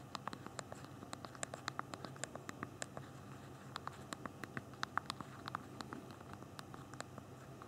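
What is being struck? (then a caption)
Small hard plastic phone keys. Both thumbs rapidly press the small hard plastic keys of a handheld BlackBerry phone's backlit physical QWERTY keyboard while typing. The result is a quick, uneven stream of short, dry clicks with bright tops and a mid pitch around 1.2 kHz, set over a faint low hiss.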